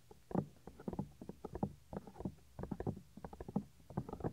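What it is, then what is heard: Silicone microphone ear, tapped and rubbed. Fingertips and nails rub and tap directly on the small, solid, white soft silicone ear of a 3Dio binaural microphone. The result is a quick, irregular run of close, muffled thumps and soft scratches, weighted toward the lows with almost no bright top end. Each touch dies away almost instantly.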